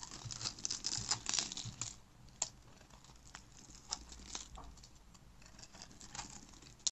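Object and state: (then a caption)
Dry soap bar. A black utility-knife blade carves a grid into a solid, hand-sized orange bar of dry soap held in the hand, then scrapes off crunchy soap cubes. A dense burst of crisp, bright crackling and scraping fills the first two seconds, followed by sparser, quieter crunches and sharp clicks that stop quickly.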